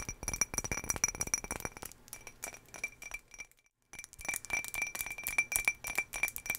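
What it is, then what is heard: Empty ribbed glass jar. A medium ribbed green glass jar, hollow, empty and with its lid off, is held in both hands and tapped rapidly with long fingernails. The bright, high-pitched clinks ring around 2.4 kHz and die away almost at once. The tapping stops in a brief silence just before the four-second mark, then resumes.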